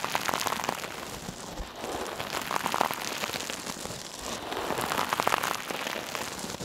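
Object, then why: Metal mesh scrub sponge. A hand-sized, soft, silver metallic mesh scrub sponge, held in one hand, is pressed, squeezed and rubbed against a mannequin ear. It makes a dense, crackling, rain-like rustle with bright crinkly edges that swells in three waves over the clip. There is almost no low end and each crackle dies away instantly.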